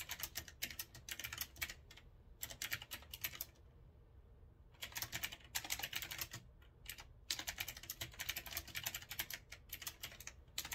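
Fast fingertip typing on a retro typewriter-style mechanical keyboard with a metal frame and round keycaps produces dense, bright, crisp key clicks. The clicks come in rapid bursts separated by short pauses, including a longer quiet stretch near the middle.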